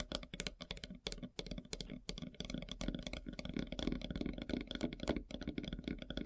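Long silver nails tap rapidly on a large, solid, flat slice of light-colored wood with a bark edge. The result is a dense run of quick, dry clicks that stop instantly with no ring, with a faint low rumble underneath and some high brightness on top.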